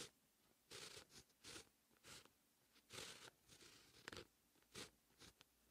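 A dark fine-tip pen held in the fingertips writes Korean text on a flat sheet of white lined writing paper. The pen-on-paper scratching is bright and dry, coming in short separate strokes with quiet gaps between them.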